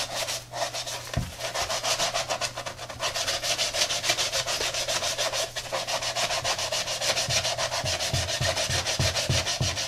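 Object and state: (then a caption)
Knit sneaker being brush-scrubbed. A hollow tie-dye Adidas running shoe with a knit textile upper and white foam midsole is held in gloved hands and scrubbed back and forth with a blue-bristled brush and soapy lather. A fast, steady run of bright, hissy bristle strokes rasps across the fabric at about three to four strokes per second, with a few soft low bumps under the later strokes.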